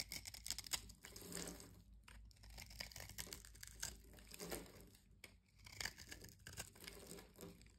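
A blade cuts into the scored surface of a solid yellow-and-white striped bar soap held in the hand, breaking it into crumbling cubes. Dense, crisp crunching and crackling comes in quick bursts, bright and dry with little low end. Short swells of scraping texture rise and fade between the louder snaps.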